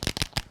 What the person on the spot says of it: you can hear the ball bearing at the bottom